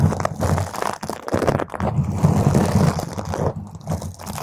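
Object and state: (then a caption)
Foam microphone windscreen being scratched. Long, pointed green acrylic nails on both hands scratch a purple spherical foam windscreen on a microphone. The result is a dense, crunchy, crinkling rasp, heavy in the low end around 140 Hz, with almost no bright content. It runs nearly continuously, with brief dips in loudness.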